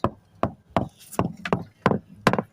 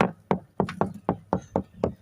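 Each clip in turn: First: Sharp, tight knocks on a fiberglass deck, each dying at once: the core is solid here. Second: About nine dull, low knocks on a fiberglass deck; the thuddy, dead tone points to a hollow, delaminated core.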